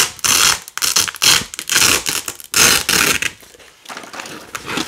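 Fingers with long nails pull red and white nylon hook-and-loop (velcro) strips away from a black loop panel. Repeated bright, crackling rips in loud bursts, each tearing off quickly, then quieter, softer peeling toward the end.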